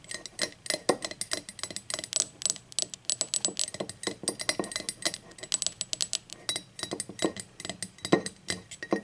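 Long acrylic nails rapidly tap the side wall and unglazed base of an empty, hollow, speckled teal ceramic mug lying on its side. The taps come as a steady stream of sharp, bright clicks and clinks, each with a quick, thin ring that dies away almost at once.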